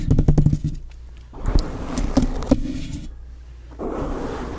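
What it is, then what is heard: Foam microphone cover scratched and tapped. Long nails tap and scratch a black foam windscreen on a microphone. A quick run of soft, muffled low taps opens the clip, then gives way to a dull, rustling scratch broken by a few heavier thuds. Each sound dies away at once with no ring.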